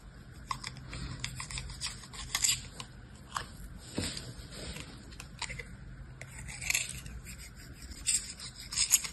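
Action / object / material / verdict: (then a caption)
scrape / kinetic sand in a plastic mold, metal knife / sand / none. Yellow kinetic sand, pressed into a small orange square plastic mold held in the hand, is scraped and cut by a metal knife blade worked across it by pink-nailed fingers. Soft, bright, gritty rasping strokes come in short bursts, some sharper and louder than others, over a quiet hiss.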